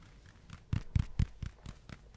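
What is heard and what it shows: A spiky rubber ball is tapped and handled, giving a steady series of soft, low, muffled thumps spaced about a quarter second apart. Each tap is short and dull with almost no ring.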